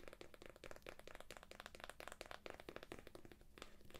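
Long nails rapidly tap and scratch the plastic shrink wrap on the cover and pink edge of a thick, solid paperback book, making a steady stream of short, dry clicks. The crackly taps are crisp and bright, with a midrange thud from the book beneath, and each one dies away almost instantly.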